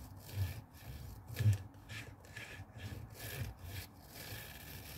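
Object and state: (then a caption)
Plastic garment steamer water tank. Fingernails scratch and rub the hollow blue plastic water tank of a handheld garment steamer resting on a wooden table, then a hand grips the tank. Repeated bright, rasping scratch strokes sit over a dull, hollow low thump from the plastic body, with a couple of louder rubs standing out.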